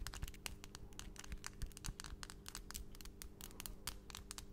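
Long, pointed, solid acrylic nail extensions in pastel colours on both hands are tapped and clicked against each other quickly in front of a microphone. The result is a rapid, irregular stream of sharp, bright clicks and taps, each dying away almost instantly, over a steady low hum.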